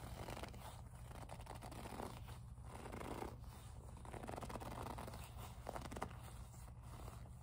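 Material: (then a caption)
Leather. Long acrylic nails grip, squeeze and rub a small, soft, hollow pink faux leather zippered pouch. The result is a quiet, continuous stream of squeaky gripping and scratching textures with swelling strokes over a steady low hum.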